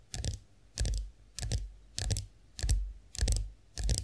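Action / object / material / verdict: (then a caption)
tap / chrome-finished face roller handle / chrome-plated metal / none. Long acrylic nails tap the smooth handle of a chrome-finished face roller stood upright. Seven short bursts of quick tapping repeat at a steady pace, each mixing a deep low thump with bright clicky ticks that die away almost at once.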